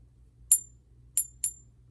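A non-magnetic counterfeit silver coin is struck with another coin three times, giving three short, high-pitched clicks. Each tap dies away within a fraction of a second with no ringing ping, showing the coin is not genuine silver.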